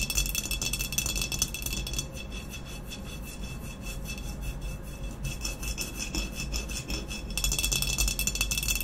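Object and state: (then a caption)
Ceramic vase, scratched with nails. Long nails scratch and rub the sides of an upright, hollow glazed ceramic vase with a matte black textured body. The result is a dense, rapid rasping with a bright, hissy edge and a steady high ringing tone underneath. It is louder at the start and end and softer through the middle.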